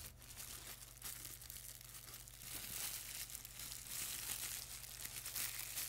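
A clear plastic bubble wrap sheet is crumpled, squeezed and rubbed between the fingertips and both hands. Bright, dense crinkling fills the clip over a steady low hum, growing louder after the first couple of seconds.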